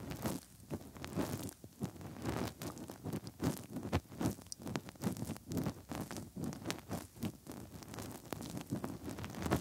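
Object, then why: Silicone microphone ears. Bare fingertips rub inside the hollow canals of the soft silicone ears on both sides of a 3Dio binaural microphone. The result is close, muffled rubbing and squishing with irregular crackly strokes, weighted toward the low end with brief bright flicks.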